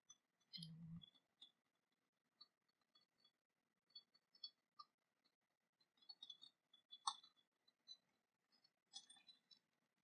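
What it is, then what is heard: Cast-metal dagger sheath. Long painted nails tap and scratch an ornate silver-coloured cast-metal dragon dagger, sheathed and lying on a fabric cloth. A soft low thump opens the clip, followed by scattered, quiet, bright metallic clicks and light scratches separated by brief silences.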